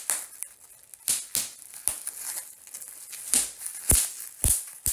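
Two bare hands pinch, squeeze and pop the small air-filled bubbles of a large clear plastic bubble wrap sheet lying on a speckled stone surface. Sharp, bright pops with a low thump come at irregular intervals over a soft, hissy crinkling of the plastic between them.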